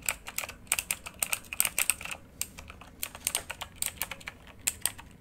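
Both hands type rapidly with their fingertips on a full-size backlit RGB mechanical computer keyboard with plastic keycaps on a hollow housing, lying flat. The result is a steady stream of quick, sharp, bright clicks with almost no low end and very short decay, quietly uneven in rhythm.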